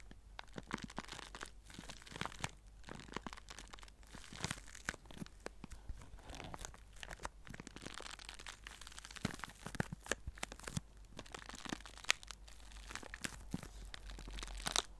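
A small clear plastic zip-lock bag holding crumpled white paper is held in both hands and squeezed and crinkled with the fingertips. The result is a steady stream of quiet, dense crinkling and crunching with sharp, bright, very short crackles throughout.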